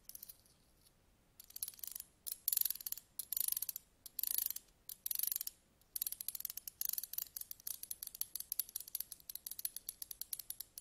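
Slim metal tweezers stand upright, tip-down on a table, while a thin pointed stick scratches along their ridged grip. Bursts of rapid, bright ticking clicks come in short strokes, then settle into a steady, quicker run of crisp ticks with almost no low end and no ring.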